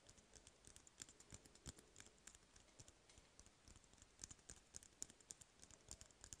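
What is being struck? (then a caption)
Cardboard paper roll tube. Fingertips tap rapidly on the side of an empty, hollow cardboard toilet paper roll held in one hand. The result is a quiet, steady patter of short, dry, bright clicks with almost no ring, much like fast typing on a keyboard.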